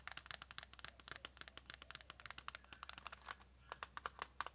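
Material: Plastic, cellophane.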